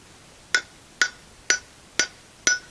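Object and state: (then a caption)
Unseated bearing race, hollow. A steel outer bearing race is tapped into a brake drum hub with a driver, giving five evenly spaced, sharp metallic taps. Each has a bright, hollow clink with a pitch near 1.5 kHz that dies away quickly. The hollow sound shows the race is not yet seated.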